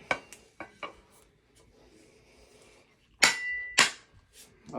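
A steel piece is hammered onto a wedge banger under construction, giving several sharp metallic strikes with a bright ring around 2 kHz and a couple of louder, hollow-sounding blows near the end. The hollow sound shows the steel part is not yet fully seated and still sits about half an inch proud.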